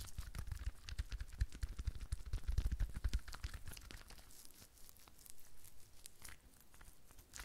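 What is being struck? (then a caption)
Rhinestone-studded decorative ball. Long fingernails tap and scratch quickly over a rhinestone-studded decorative sphere held in both hands. The result is a dense, irregular stream of short crisp clicks and crinkly scrapes with a low rumble underneath. The sound is busier and louder in the first half and thins toward the end.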